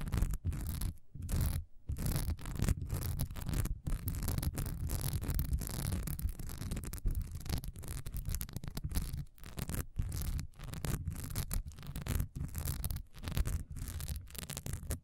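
A solid cream wax pillar candle with a honeycomb, diamond-textured surface stands upright and is scratched fast with long nails. The sound is a dense, rapid run of rough scratching strokes, heavy in low rumble with little brightness, broken by brief gaps throughout.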